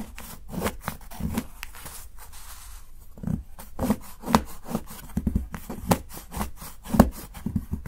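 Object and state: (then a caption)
Dark chocolate bar being chopped. A steel kitchen knife chops shavings from the edge of a solid, segmented dark chocolate bar held by fingertips. Short, dull, crunchy snaps and soft thuds repeat at an uneven pace, with a brief lull of quieter scraping before the chopping picks up again.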